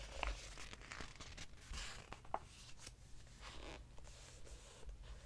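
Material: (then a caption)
Glossy paper. Fingers lift and flip the glossy paper pages of an open hardcover book, crinkling them, while a palm rubs across the page surface. The clip is quiet, with soft papery swishes, crisp crinkles and a few sharper snaps over a low background rumble.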